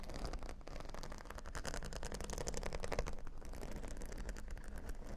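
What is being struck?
Plastic faux-pearl beads on a cork board.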